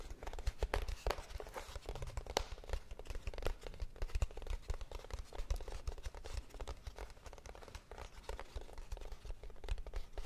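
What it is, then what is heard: Cardboard box. A small, closed, hollow kraft cardboard box, held in both hands, is tapped and scratched with long painted nails. It makes a dense, continuous run of quick dry taps and scratchy crackles with a hollow, low-heavy thump and no ringing after each hit.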